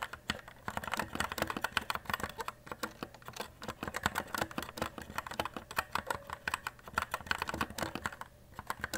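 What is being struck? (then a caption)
Mechanical keyboard with plastic keycaps. Fast fingertip typing on a white E-Element Z-88 RGB mechanical keyboard with plastic keycaps produces a dense, steady stream of short, sharp clacks. The key presses barely ring, and the typing eases briefly near the end before resuming.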